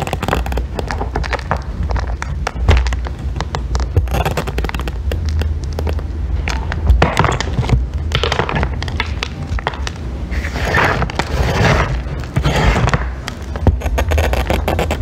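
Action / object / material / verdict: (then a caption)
scrape / bar of soap scraped with a metal loop tool / soap / none. A solid green bar of soap, partly carved, is held with long nails and scraped with a thin metal loop tool. The result is a steady stream of dry, crackly scraping made of many quick clicks over a low, constant hum, with brighter bursts of shaving texture toward the end.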